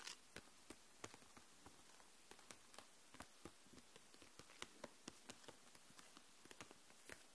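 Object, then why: Plastic marker case full of markers. Long nails tap across the plastic barrels of markers in a clear plastic case lying flat. About nineteen quiet, sharp, bright clicks come at an uneven pace, each dying away almost instantly over a soft background hiss.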